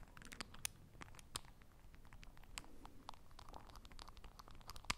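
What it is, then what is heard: Small glass drops bottle with plastic cap. Long nails twist and lift the white plastic dropper cap on and off a small, clear, partly full glass Essence nail-polish drying drops bottle, close to the microphone. Quiet, dense crisp clicks and scratchy, crinkling ticks scatter throughout, with a few sharper bright snaps standing out and no ring after each.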